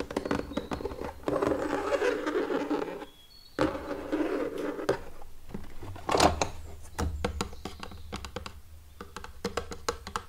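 Fingertips and short nails tap and scratch the top and sides of a small, hollow, pink ribbed plastic drawer unit with a printed drawer front, resting closed on a wooden table. Long stretches of dry, hollow scratching in the first five seconds give way to a run of sharp, quick taps with a bright edge. Each sound dies out almost at once.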